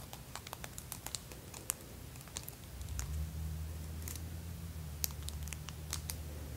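Extra-long hot-pink acrylic press-on nails on both hands, solid and thin and decorated with rows of small plastic fake teeth, clack and tap against each other. The result is a quick, irregular patter of sharp, bright clicks with almost no ring. A steady low hum rises underneath from about the third second on.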